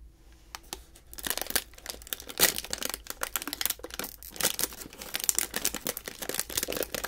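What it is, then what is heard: Foil snack bag being crinkled and torn open. A small blue metallized plastic snack bag, sealed and filled with snacks, is pinched and pulled open by the fingertips of both hands. After a quiet start, bright, dense crinkling and crackling fills the clip, with a sharp tearing burst as the bag gives way and more crinkling after.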